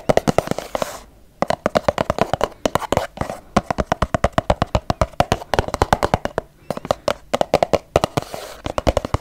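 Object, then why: Plastic squeeze tube. Long yellow fingernails tap fast on a filled, medium-size pink Lumene cleansing cream plastic tube, producing about 63 short, dry, hollow clicks centred around 750 Hz. The taps come in rapid bursts with brief pauses, and each click dies away almost instantly.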